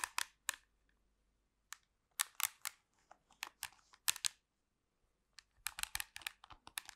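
Long pink nails tap and scratch the casing of a black plastic handheld TV remote control held close to the mic. About twenty short, bright, dry clicks come in irregular clusters with brief silent gaps, and a few softer scratching rasps sit between them. Each sound stops almost instantly with no ring, and there is no low-end body.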